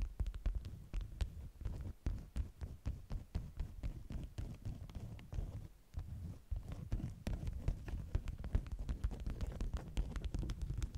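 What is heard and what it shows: Long nails tap rapidly and scratch the waxy top layer of a folded stack of beeswax-coated cotton food wraps. The result is a dense run of soft, dull, low thuds with short scraping textures between them, and very little bright content.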